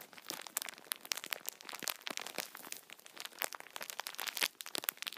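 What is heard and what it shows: Hands grip a plastic-wrapped multipack of tissue packets resting on a towel and press the film with their fingertips. The plastic crinkles in a dense run of sharp, bright crackles and snaps with no low end. Each crackle stops at once, with no ring.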